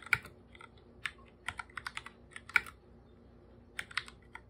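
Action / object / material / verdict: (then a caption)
tap / plastic computer keyboard / plastic / none. Bare fingertips type on a full-size black computer keyboard with plastic keycaps and a hollow body. Thirteen short, dry, bright clicks land in an uneven rhythm, with a pause before the last few. The taps have almost no low end and stop at once with no ring.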